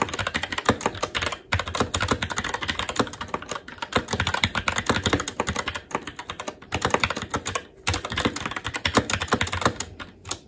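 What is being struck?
Mechanical keyboard with plastic keycaps.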